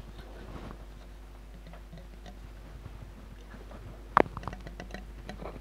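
Long nails tap on the glass bottom of a large, full glass jar of red glitter liquid held on its side. A steady low hum and faint soft ticks run through the quiet first four seconds. Then a sharp pair of bright clicks lands, followed by a scatter of lighter taps that die away almost instantly.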